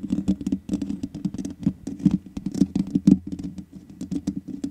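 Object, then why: Metal mesh microphone grille. Long nails from both hands tap rapidly on the hollow metal mesh head of a black microphone. The result is a dense, uneven patter of short, dry taps with a boomy low-mid body and faint crisp ticks on top. Each tap dies away almost at once.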